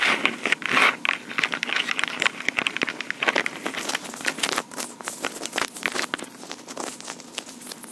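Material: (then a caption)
Plastic. Long pink acrylic nails tap and scratch the top surface of a small, hollow, black plastic Tascam portable recorder. Rapid, dry clicks mix with crackly scraping; the sound is bright and thin, with almost no low end. Each tap dies out almost instantly, and the activity is busiest and loudest at the start before easing slightly toward the end.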